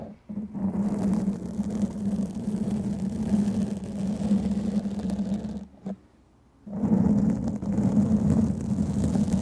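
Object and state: Foam microphone windscreen being scratched.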